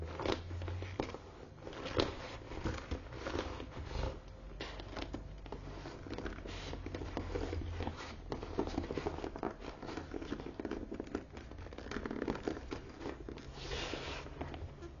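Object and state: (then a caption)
Croc-embossed leather handbag. Long nails tap and scratch across the front and side gusset of a closed brown croc-embossed leather tote lying sideways on a table. The result is a steady, dense stream of soft clicks and dry crackling scrapes over a faint low hum, with short bursts of brighter scratching.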